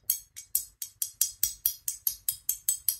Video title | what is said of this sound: Wakizashi japonais de 400 ans !! - Review | ça doit ça doit raisonner légèrement